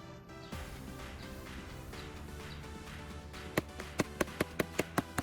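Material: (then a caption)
Plastic. Over background music, a hammer taps directly on the painted repair patch of a plastic bin as an impact test; the patch is made of foam softened with WD-40, with baking soda and melted-in paperclips, and the plastic lid is back on. About eight short, sharp taps follow in quick succession near the end. The repair holds very well, with no crack or separation, and resists the impacts.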